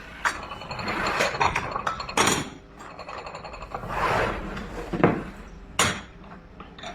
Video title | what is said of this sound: KAKAIBA TALAGA ANG TUNOG NG GINTO!! | Medyo high pitch ang tunog ng ginto kaysa tingga